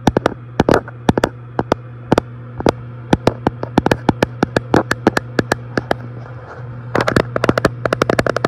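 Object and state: Glass front panel of an electric fireplace.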